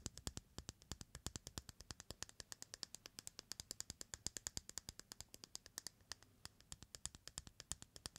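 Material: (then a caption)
Eggshell. A single whole white hen egg held in the palm has its raw shell tapped and scratched by fingertips and nails. Dozens of quiet, crisp clicks follow in a steady run, each bright and dry with almost no ring, over a soft scratchy hiss.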